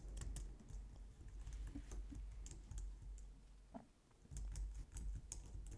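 Long nails and fingertips type on the keys of a compact, low-profile white plastic computer keyboard. Quick, soft clicks and bright nail ticks run in uneven bursts over a steady low hum, with a brief lull before the typing picks up again.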